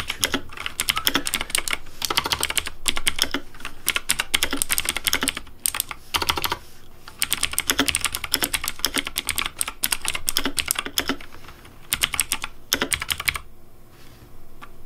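Fingertips type on a pink Razer Deathadder V3 plastic mechanical keyboard with hollow plastic keycaps, producing rapid bursts of bright, clacky keystrokes. The clicks are sharp and dry with almost no ring, separated by brief pauses between typing runs.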